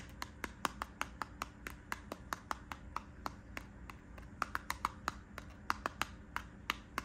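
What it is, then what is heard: Cardboard and plastic blister pack. Fingernails tap and scratch across a small yellow Burt's Bees multipack of lip balms, with a cardboard backing and plastic blister, held up in one hand while a leather bag sits untouched behind it. About thirty sharp, dry plasticky clicks land in a steady, uneven rhythm, each snapping off almost instantly with a bright crackle centered near 1.2 kHz. Soft scratchy rustle and a low background hum sit underneath.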